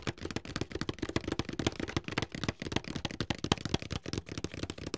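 Fingertips tap the sides of a medium, closed, hollow white paperboard box held upright in both hands. About two dozen quick, dry taps give hollow, low thuds with a papery click on top. Each tap dies away almost instantly.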